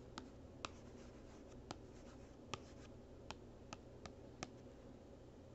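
A small, hollow, printed cardboard gift box is held still by one hand while the capped tip of a plastic marker traces and scratches across its back panel. A quiet, steady dry scratching runs throughout, broken by nine short, bright ticks at irregular intervals as the tip catches the surface.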